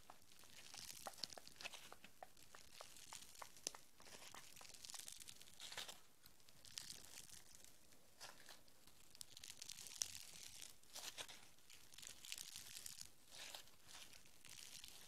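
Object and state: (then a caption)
Foam bead clay. A small piece of green foam bead clay is pinched, squeezed and stretched by fingertips with long red nails. It gives a steady stream of quiet, bright crinkly tearing and crackling pops throughout.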